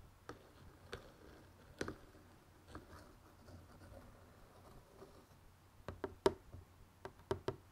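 Fingertips tap and knock along the top edge and sides of the lid of a closed, hollow, printed cardboard jigsaw puzzle box. About 11 short, dry, irregularly spaced taps are heard, with little ring and a hollow midrange tone around 390 Hz. The taps are sparse at first and cluster more closely toward the end, over a quiet background.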